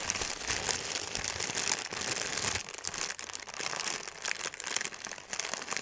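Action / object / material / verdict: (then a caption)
scrape / thin paper sheet / paper / none. A folded sheet of thin white wrapping paper is held in both hands and crumpled into a ball. A dense, bright crinkling fills the first two and a half seconds, then thins into quieter, broken crackles that flare up again near the end.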